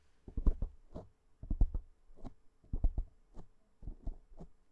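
Long fingernails of one hand scratch and tap a black foam windscreen on a microphone. Quick clusters of deep, muffled thumps come with brief soft scratchy brushes between them. The sound is short, dull and heavy in the low end, with almost no ring.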